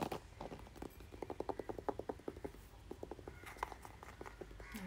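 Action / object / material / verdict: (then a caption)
tap / plastic paddle hairbrush / plastic / none. A red, hand-sized plastic paddle hairbrush with a hollow-backed head and thin handle is held in one hand while the fingertips and nails of the other hand tap and scratch its back and bristle pad. Quick, hollow clicking taps come in uneven bursts, with brief scratchy brushing sounds toward the end.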